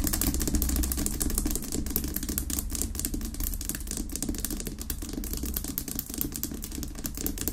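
Long nails rapidly tap and scratch on a large, solid pink Himalayan rock-salt lamp sitting unlit on a wooden base. A dense, uneven stream of quick, dry clicks and scraping rasps runs continuously over a steady low hum.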